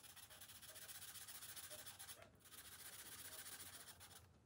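A green felt-tip marker rubs steadily back and forth across the thin paper page of an open coloring book resting on a glass table while colouring. The result is a quiet, bright, hissy scratching in quick rhythmic strokes, with brief dips in the stroking just after two seconds and near the end.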